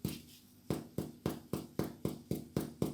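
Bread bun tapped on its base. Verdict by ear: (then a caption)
Hollow. A finger taps ten times on the bottom of freshly baked fadgies (bread buns), each tap a short, dull, low thud with almost no ring. The hollow sound shows the buns are baked through and done.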